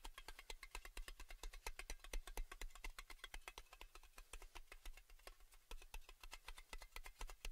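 Fingernails rapidly tap and scratch across the embossed underside of a round metal Baileys tin lid, held face-out. The result is a fast, uneven stream of short, bright metallic clicks over a steady low hum.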